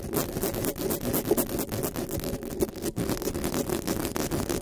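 Long nails and fingertips scratch and rub fast across the hollow metal mesh grille of a black desktop microphone. The result is a dense, continuous wash of crackly scraping, heavy in the low-mids around 400 Hz, with quick uneven bursts and brief bright rasping flicks. It never pauses.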